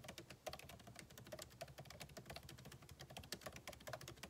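Fingertips type continuously on the backlit keyboard of a MacBook Pro, with plastic keycaps set in an aluminum body. Quiet, rapid key taps overlap in a steady stream, each a brief, dry click with a bright edge and a soft low thud underneath.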